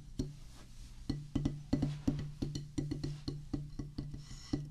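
Wooden drumsticks tap a solid oval drum practice pad with a black rubber top on a pressboard/wood base. The strikes come in an uneven run of short, dull thuds, each with a low, brief resonant ring and a soft click on top.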